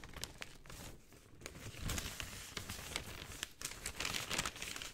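An empty, medium-sized white paper bag is held upright and opened, then folded flat, and crinkled and rubbed with fingertips and long painted nails. Dense, bright crinkling and rustling runs throughout, with sharper crackles and a thudding low rustle as the paper is handled. The sound is quiet and close, with a brief softer pause near the one-second mark.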